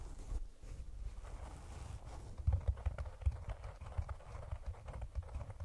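A hollow, round brown cork container placed over the microphone is tapped and scratched on its sides with the long painted nails of both hands. The sound is a muffled, deep thudding of quick, dry taps over a soft scratching rustle, with a few louder knocks standing out.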